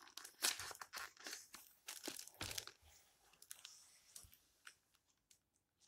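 Fingertips with long red nails rub the yellowed paper pages of an open old book flat and flip through them. Quiet, crisp rustles and crinkling swishes come in bursts, mostly bright with almost no low end. The sounds fade to faint brushes toward the end.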